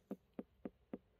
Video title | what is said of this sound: RAGASHANTI and CIARDI at PECKWOOD FARMS, ST. MARY, JAMAICA | It sounds solid. It sounds too solid.